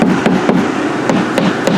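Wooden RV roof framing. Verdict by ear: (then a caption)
Solid. Light taps on the water-stained wooden roof framing at an old leak spot of a 31 ft 2018 Puma RV, with the roof decking removed, and on the thin ceiling, over a steady broadband background hiss. The knocks are dull and low-pitched. The wood sounds solid and is only water stained, not rotten, which is how it is supposed to sound.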